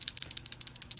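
A PTC start relay pulled from a mini refrigerator's compressor is shaken by hand, producing six sharp, bright rattling clicks concentrated in the high frequencies. The rattle comes from a cracked ceramic disk inside, which leaves the compressor unable to start, so the relay needs replacing.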